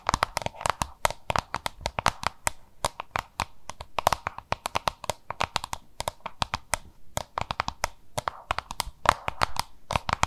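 Long nails tap and scratch rapidly over a small, hollow, oval yellow-green plastic lunch box held in both hands. The result is a dense, irregular run of dry, sharp clicks with no ring, carried by a hollow resonance around 1 kHz, with soft scratching filling the gaps.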